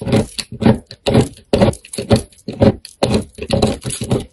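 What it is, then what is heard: Soap bar being scraped and cut with a knife. A utility knife blade scrapes and cuts small cubes off the surface of a solid, hand-sized black soap bar with a purple core, held in one hand. Short, crisp scraping strokes repeat at a steady rhythm of about two per second, each a dry, broadband rasp separated by brief silences.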